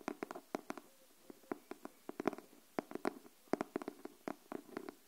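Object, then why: Cardboard hardcover notebook. Long nails tap the cover of a pink cardboard hardcover paper notebook held upright, making about twenty dry, hollow clicks in an uneven rhythm with brief pauses. Each tap is short and clipped, with a mid-low body around 380 Hz and a brief bright edge, and fades almost instantly.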